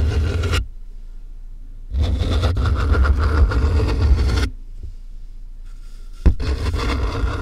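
Fingertips and nails tap and scratch along the packing tape on top of a medium, closed corrugated cardboard box that is hollow with a microphone inside. Bursts of low, hollow, rumbling scratching alternate with quieter pauses, and one sharp tap stands out near the end.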